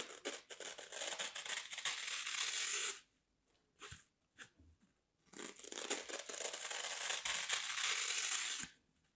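A thin, dry slab of green floral foam with a scored grid is held in both hands while a blade and fingers pry and break out small foam cubes. Two long stretches of crumbly, bright tearing and crunching are separated by a few brief, quiet snaps.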